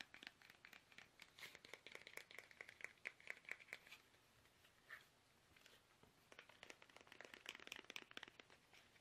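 Fingertips tap fast on a small, hollow, soft plastic toothpaste tube held upright in both hands, giving quiet, bright, crinkly clicks with a faint tone around 2 kHz. The dry taps stop at once with no ring. A burst of dozens of taps dies down to a near-silent lull with a single tap, then resumes in a second rapid flurry.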